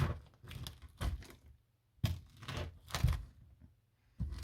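Wooden floor boards inside a built-in cupboard are poked out by hand, crumbling and tearing with a series of dull, low crunching and cracking bursts separated by short pauses. The wood gives way easily because it is rotten.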